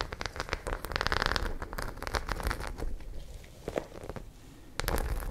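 Long nails scratch along the rows of small studs on a white fabric pouch, making a rapid, rain-like patter of dry, crackly ticks. The scratching is densest and brightest around the first second, thins to a quieter stretch near four seconds, then returns louder at the end.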